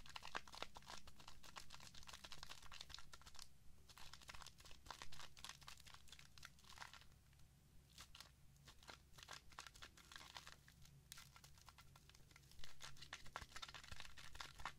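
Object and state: Shaving foam squished on a ceramic plate.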